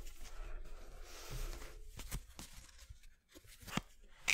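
A full deck of thin coated-paper playing cards is held in both hands over a wooden board while fingertips riffle and shuffle it. A soft, continuous papery rustle is broken by a few sharp, bright flicks as the cards snap against each other, each dying away almost at once.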